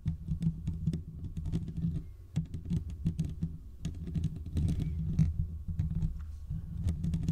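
Fingertips and short nails of both hands scratch the hollow domed steel mesh grille of a large desktop condenser microphone. The result is a rapid, dense stream of scratchy taps and rubs that land as a heavy, boomy low-end rumble, with thin bright ticks flicking above it. It carries on almost continuously, with a couple of brief pauses.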